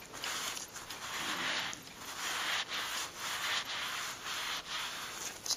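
A flat, soft, thin green leather glove lying on a purple towel is wiped with a white cloth and smoothed by blue latex-gloved fingertips. Steady, bright hissing rubs sweep back and forth in overlapping strokes, with brief dips between passes and a small sharper scuff near the end.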